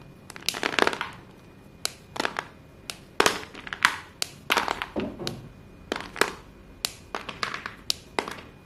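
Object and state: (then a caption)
Crumbling chalk sticks. Hands gather white chalk sticks from a pile of white chalk pieces and crush them between fingers and palms above the pile. The result is a run of short, dry, bright crunching and crumbling snaps in irregular bursts, with almost no low end and very little ring after each break.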